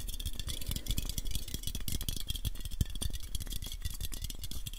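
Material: Aluminium.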